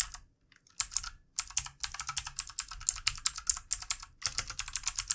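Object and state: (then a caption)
Plastic mechanical keyboard being typed on. Fast fingertip typing with both hands on a full-size backlit plastic mechanical keyboard with plastic keycaps produces rapid, bright, high-pitched clicks with almost no low end. The clacks arrive in quick bursts with a couple of brief pauses, and each one is sharp and dies away almost instantly.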